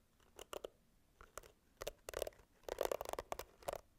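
A pink plastic hairbrush with a handle and bristle pad is scratched and tapped with long nails. Short, dry clicks and scratchy bursts come in irregular clusters with quick decay and a mid-range tone, growing denser toward the end.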